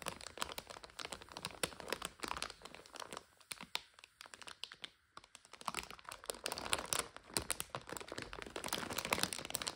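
Long nails tap and crinkle a full plastic bag of dry egg noodles and its paper label as it lies on a couch. The result is dense, bright crackling and crunching with quick, sharp taps. The sound briefly quiets to sparse ticks midway, then resumes as steady, busy crinkling.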